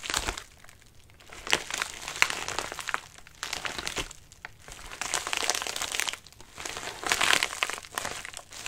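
Fingertips scratch and press the wrinkled surface of a medium white padded mailer resting on a lap. Bursts of bright, dry crinkling and crackling come and go, separated by brief quieter pauses.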